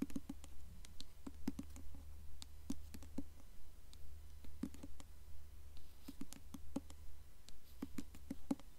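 Long nails tap quickly on the glossy, embossed paper dust jacket of a blue hardcover book held upright. The result is a fast, fairly steady run of short, dry clicks with a lowish body, over a constant low hum.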